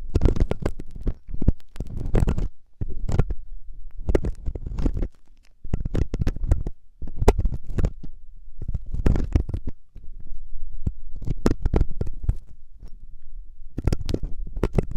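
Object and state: Silicone ear scraped with a metal ear pick.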